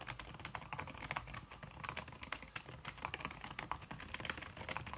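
Fast typing with fingertips and long red-painted nails on a backlit aluminium laptop keyboard, its plastic keys covered by a red silicone skin. A rapid, steady stream of soft, dampened key taps with brighter ticks mixed in, each one dying away almost instantly.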